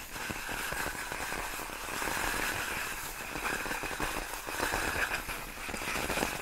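Long nails scratch and tap along the hollow, air-filled tubes of a large, clear, inflated plastic air-column cushion wrap. The result is a steady, dense crackling and scratchy rustle with bright, hissy detail and a faint tonal band in the upper mids. It stays at an even level throughout, with no distinct separate hits.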